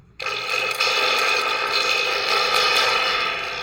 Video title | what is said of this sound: Reconditioned Guitar Amplifier #guitaramplifier #repair #repairshop #recommendations | ito pala yung tumutunog-tunog pag inaalog natin